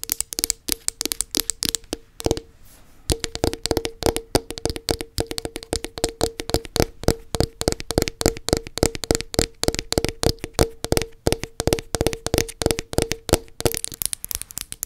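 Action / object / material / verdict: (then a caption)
tap / plastic body butter tub / plastic / none. Long nails tap and scratch quickly across the black plastic bottom of a round body butter tub with a label sticker on it. A dense, steady run of short, dry clicks carries a hollow tone near 450 Hz and a bright scratchy edge. The tapping pauses briefly around 2.5 seconds before continuing to the end.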